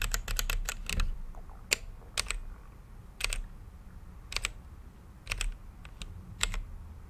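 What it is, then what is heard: Mechanical keyboard typing. A mechanical keyboard with plastic keycaps and a clear acrylic case, lit by changing RGB light, is typed on with the fingertips of both hands. A quick run of sharp, bright key clicks opens the clip, followed by spaced clusters of two or three presses. Each click is very short and crisp over a low, steady background rumble.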